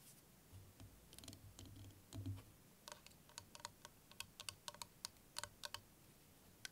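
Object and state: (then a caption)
Plastic liquid motion timer. A clear plastic liquid motion timer with yellow ends, filled with green liquid, is tapped and scratched with fingernails while being tilted in the hands. Soft low rumbles and scratching give way to a run of sharp, bright clicking taps that sound like typing.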